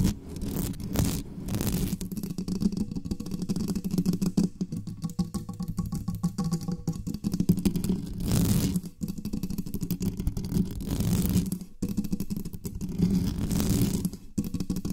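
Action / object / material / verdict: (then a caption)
scrape / metal mesh microphone grille / metal mesh / none. Long nails of both hands scratch fast over the sides of the mesh grille on a dark, uncovered metal USB condenser desktop microphone. The result is a dense, continuous rasping and rumbling, heavy in the low end around 170 Hz, with brief bright, hissy bursts between the steady scratching.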